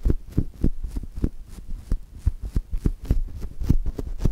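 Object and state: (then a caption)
Polyurethane foam squishy. Two index fingertips press and rub a brown polyurethane foam chocolate-toast squishy held between the mics. The result is a steady, slightly uneven run of soft, muffled, deep thumps with very short decay, each with a faint high brushing edge, over a low hum.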